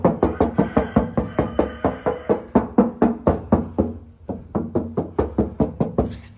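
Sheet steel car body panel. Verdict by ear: No filler.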